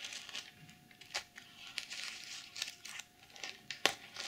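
Long nails brush and scratch across the reversible plastic sequins of a sequin pouch. The result is soft, bright, crinkly rasping with almost no low end, broken by a series of short, sharp scratchy clicks that stop instantly, the loudest near the end.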